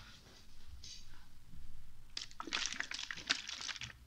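A small clear plastic water bottle with a blue cap and white label, partly filled with water, is held in one hand, tilted and shaken while the fingers grip its thin crinkly plastic. For the first two seconds there is soft, low water sloshing with a faint high hiss. Then a dense burst of bright, crackling plastic crinkles takes over alongside the sloshing liquid.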